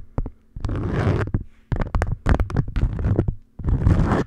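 An orange beeswax-coated cotton food wrap folded over a microphone is tapped and scratched with long nails. Close, muffled, bass-heavy rustling scrapes come in three longer stretches, broken up by short dull taps and brief quiet gaps.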